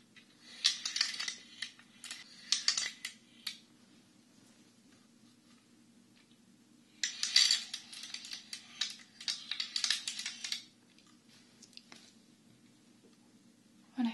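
A dark wooden Chinese abacus with red wooden beads is held by both hands at its short ends and shaken and tilted, so the loose beads slide and clack against each other and the frame. Bright, rattling bursts of bead clatter come in two main spells with quiet gaps between, over a faint low steady hum, and end with a short final clack.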